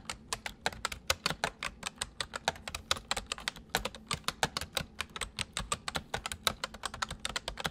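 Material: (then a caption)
Plastic. Fingertips of both hands type rapidly on a white full-size plastic mechanical computer keyboard. About 47 sharp, bright clicks and clacks come in quick succession, each dying out almost at once, over a faint low hum.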